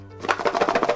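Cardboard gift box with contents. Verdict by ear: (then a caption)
Loose. A round, ornament-shaped cardboard Christmas gift box is shaken, and the loose items inside rattle in a quick run of about seven bright, dry clatters, showing there is more than one thing inside. A faint low hum sits underneath.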